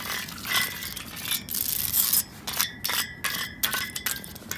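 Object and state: Metal drain grate.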